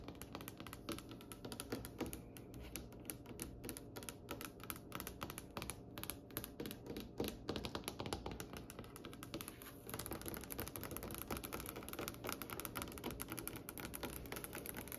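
Long nails tap rapidly on a glossy, varnished, solid brown wooden table top, making a dense stream of quick, dry clicks and knocks with little ring. At about ten seconds the tapping grows louder and more continuous, with a brighter edge.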